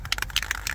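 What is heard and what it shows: A metal aerosol can of rust primer, about to be sprayed on the rocker panel of a 2014 Ford F-150, is shaken so its mixing ball rattles inside. Four sharp, bright clicks stand out over a low rumble as the ball knocks freely against the can, showing the paint is being mixed properly.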